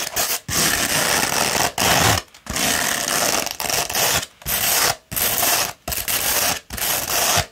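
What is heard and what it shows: Long red almond-shaped nails scratch up and down a coarse beige grit-60 sandpaper sheet rolled into a hollow tube. The result is a dense, bright, gritty rasping in long strokes of uneven length, separated by brief silent pauses.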